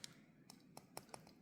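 Five light taps on the die-cast metal seats of a Hot Wheels Mario Standard Kart toy give short, bright ticks that die away almost instantly. The seats sound solid and are confirmed to be metal.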